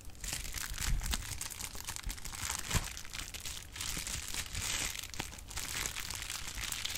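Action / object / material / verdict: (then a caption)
scrape / plastic bubble wrap sheet / plastic / none. A sheet of clear plastic bubble wrap is handled while its bubbles are popped with the fingers. Dense, bright crinkling runs throughout, broken by short sharp pops and soft low thumps that die away almost instantly.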